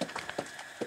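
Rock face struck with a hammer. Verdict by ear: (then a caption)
Dull. In a mine tunnel, a hammer strikes the rock face five times, searching for sericite. Each blow gives a short, dull knock with little ring. The rock contains sericite, which makes it softer and the strikes sound duller.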